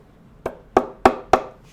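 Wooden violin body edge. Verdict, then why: Closed. Four tapping knocks on the edge of a wooden violin body where the seam is properly glued and closed. Each tap is short and dry, with a quick decay. The sound differs from the tone of an open seam, showing the seam is sound.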